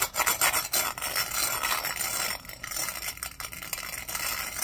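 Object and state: Textured glass cup brushed.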